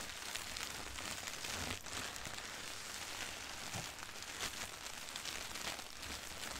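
Fingertips and long nails rub and scratch across a flat, thin sheet of white printed tissue wrapping paper. The result is a steady, bright, papery rustle and scratching hiss, with small swells in loudness throughout.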